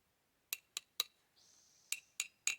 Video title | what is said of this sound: World's Best Axe $10 - Woodshed Wednesday! Ep.1 | it should sound hard as a rock if it didn't have this handle in here it would ring like a bell like a symbol